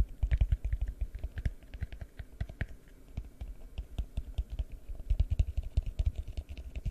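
A large, hollow, empty yellow translucent plastic bowl is held over the microphone and tapped rapidly with the fingertips. The taps make a dense run of short, deep, thumpy knocks with a low boom and almost no ring. The tapping comes in uneven bursts that grow louder toward the start and end.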